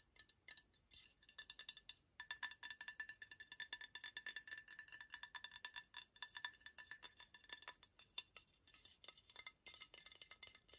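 Fingernails tap rapidly on the glossy red cap of a medium-sized, likely hollow red and white glazed ceramic toadstool decoration held in one hand. The taps are quiet, bright and clicky, with a faint glassy ring around 2 kHz and higher. They come in quick bursts with brief pauses, and each tap dies away almost at once.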